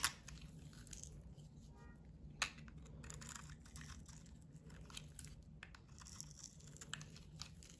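A metal utility blade shaves thick curls from a solid bar of white soap with a blue rim and a white face. Quiet, crisp, crunchy scraping continues throughout, with bright crackle over a low background rumble and a few sharper clicks as the blade catches and cuts.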